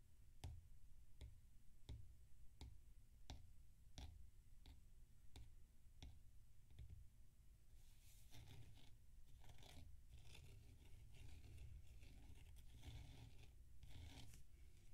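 Fingertips rub and press the surface of a large, solid dome of damp packed sand resting on a plate. Short, dry taps come at a steady pace, then give way to denser, grainy scraping and crunching with bright texture over a low rumble.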